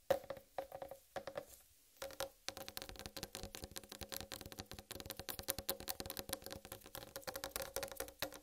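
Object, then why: Whole watermelon rind. Long red acrylic nails tap and scratch a large, whole, uncut, solid watermelon with a striped green rind resting on a dark surface. Quick, dry tapping and scraping clicks carry a hollow tone around 540 Hz with bright edges, and each tap dies away almost at once. The sound is quiet, with a brief pause near the two-second mark before the rapid tapping resumes.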